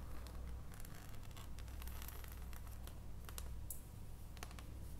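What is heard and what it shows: Long painted nails tap an unwrapped solid dark chocolate bar held above its foil wrapper. Quick, dry clicks with bright scratchy edges rise and fade over a steady low hum. The sound stays quiet throughout.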